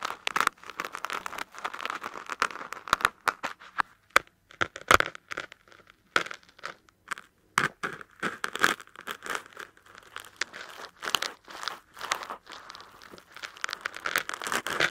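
Fingertips and long nails scratch and tap along the edge and top of a large, solid black foam block with one corner facing forward. The result is a busy run of dry, crinkly scratches broken by sharp, short taps, centered in the midrange with almost no low end and no lingering ring.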